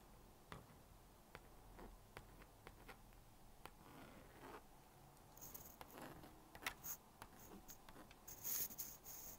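A plastic magnetic stylus scratches lines across the screen of a small blue-and-pink plastic magnetic drawing board, drawing a bear and writing. Soft, dry scratching is broken by short, sharp ticks and taps. The strokes turn brighter and louder with crisp, high clicks toward the end.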